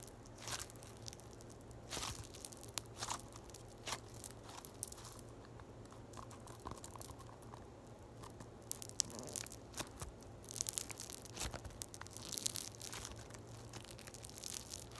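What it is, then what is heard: Floam (foam beads in slime). A small, solid lump of yellow floam, a mass of foam beads in slime, is crushed and squeezed by fingertips and long white nails. Dense, irregular, bright crunching and crackling pops come in bursts over a steady low hum, with a busier stretch near the end.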